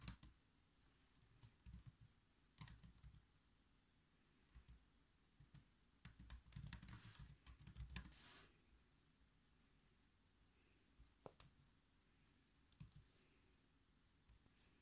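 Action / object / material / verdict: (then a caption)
tap / plastic laptop keyboard keys / plastic / none. Fingertips type and click on the black plastic chiclet keys of a silver HP laptop, heard from close up. Irregular, soft key taps come in scattered bursts, with a denser flurry of clicks in the middle and a few sharp, bright clicks toward the end over a low background hum.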